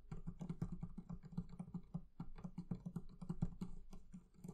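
The leather covering of a barrel chest is tapped in a rapid, steady patter. Each tap is a soft, dull, low thud that dies away almost at once, with faint bright clicks on top. The tapping stays quiet throughout.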